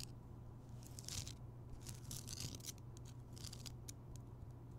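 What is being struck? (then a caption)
Rock salt lamp. Fingertips and nails tap and scratch around the rough surface of a large, rounded, solid Himalayan rock salt lamp that is lit. Bursts of bright, crackly scratching come and go over a steady low hum.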